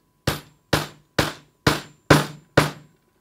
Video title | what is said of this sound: IT Range 500 Base Unit Assembly | tap it until the sound changes